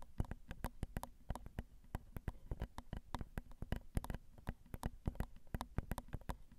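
Long acrylic nails tap the small hollow metal mesh grilles of a Zoom recorder's XY microphone capsules. A quick, irregular run of soft, dry taps comes through as low thumps from the mic body, with brief bright clicks from the mesh and almost no ring.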